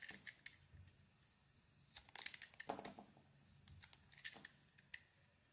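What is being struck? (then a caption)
Bar of soap cut with a knife blade. A utility knife blade scrapes and carves a handheld solid oval bar of soap with a grey heart-patterned coating over a blue interior. The result is a quiet series of short, crisp, bright scraping and shaving sounds with tiny clicks and no ringing between them.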